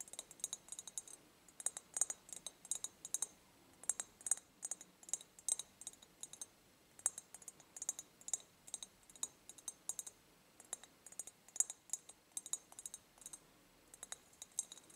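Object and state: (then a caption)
Ribbed glass jar. Long painted nails tap and click on the ribbed glass near the base of an empty, clear ribbed glass jar held tilted. Quiet, very bright, dry clicks come in quick irregular bursts with short pauses between them. Each click dies away almost instantly, with no low-end body or lingering ring.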